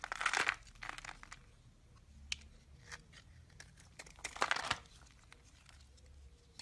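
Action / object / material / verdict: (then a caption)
scrape / solid bar of soap / soap / none. A utility knife blade cuts and scrapes flakes off a solid, hand-sized lilac bar of soap, and the pieces pile up on the table. Two dense bursts of crisp, crunchy, crinkling scraping come near the start and again past the middle, with bright, quieter scrapes and short ticks in between. The sound stays mostly in the mids and highs, with little low end.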